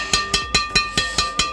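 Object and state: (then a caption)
Strung badminton racket with a long ringing hit sound. Seven taps on the strings of a strung carbon Yonex Nanoflare 800 Pro badminton racket produce bright, ringing "ting" sounds, each with a steady tone near 1.2 kHz. Each ring sustains well between hits, the long ringing sound of a high-end racket.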